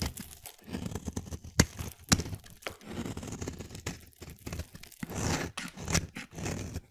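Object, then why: Bar of soap cut with a blade. A palm-sized, solid light-blue bar of soap held in one hand is shaved and carved with a utility-knife blade, peeling curls and flakes off its edge. Irregular scraping, crunching strokes with a tearing, crinkly texture follow one another, a few sharper and louder than the rest, with brief quiet gaps between them.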